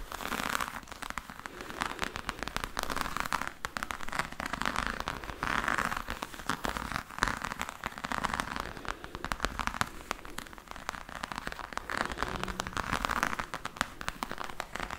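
A black croc-embossed faux leather hard case is held close to the mic while long nails scratch and tap across its textured surface. The result is a dense, continuous stream of quick crackly clicks and scratches, with brighter bursts around the midrange and high end. No single hit stands apart.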